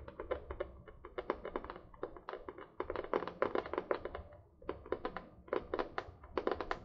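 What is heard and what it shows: Long painted nails tap and scratch the printed cardboard cover of a medium spiral-bound notebook held upright, its solid paper body giving no hollow resonance. Quick bursts of short, dry, papery taps with a muted midrange knock die away almost instantly, broken by brief scratchy rustles and short pauses.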